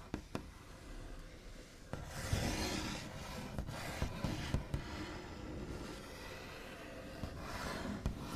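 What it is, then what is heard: Wooden tabletop, nails rubbed and tapped. The backs of fingernails rub and trace across a large, flat, solid wooden tabletop with a smooth white finish. The result is a steady, scratchy, broadband rasp with a soft low rumble, which swells in brighter waves of friction. A few sharp, short taps stand out along the way.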